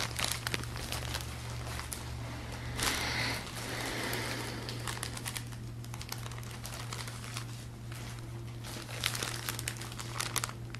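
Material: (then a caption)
Plastic film. Fingertips grip and rub the clear, thin plastic film wrapped around a stack of soft grey and blue acoustic foam panels held in front of the body, making it crinkle. Bright, dense crackling and crinkling runs throughout, with a fuller rustling swell around three seconds and sharper snaps near the end, over a steady low hum.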